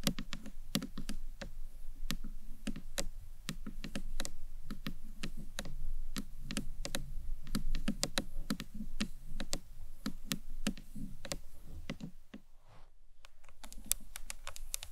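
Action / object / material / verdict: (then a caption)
tap / acrylic box clutch / acrylic / none. A rectangular, hollow green marbled acrylic box clutch is tapped with long nails and fingertips, first lying flat and then stood up. The taps come as quick, irregular, sharp clicks over a soft hollow thud. There is a brief lull near the 12-second mark before the tapping resumes.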